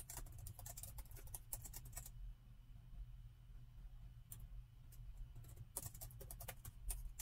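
Fingertips of both hands type on the plastic keys of a metal laptop, producing quick, bright key taps over a steady low hum. A burst of typing gives way to a quieter stretch with only a couple of isolated taps, then the rapid tapping resumes.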